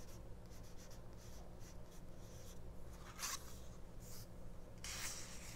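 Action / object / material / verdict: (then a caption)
scrape / small paper booklet / paper / none. Fingers and nails rub and scratch the paper pages of a small open paperback mini-book resting on a cloth. Soft, dry scratching runs over a steady low hum, with brighter, louder scrapes flaring up near the middle and end.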